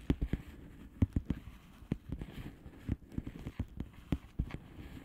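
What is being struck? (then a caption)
Plastic bubble wrap envelope. Long polished fingernails tap and scratch a flat blue plastic bubble wrap envelope. About fifteen short, dull, low-pitched taps land at an uneven pace, with a faint scratchy rustle between them. Each tap dies away almost at once.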